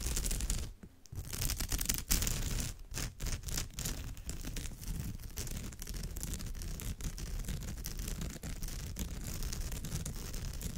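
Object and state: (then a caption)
Woven straw bag scratched. Long almond-shaped nails scratch back and forth across the dense weave of a woven straw or raffia bag. The result is a continuous, rough, crackly scratching texture with heavy low-end rumble and a bright, hissy top, broken by a few brief dips near the start before settling into a steady rasp.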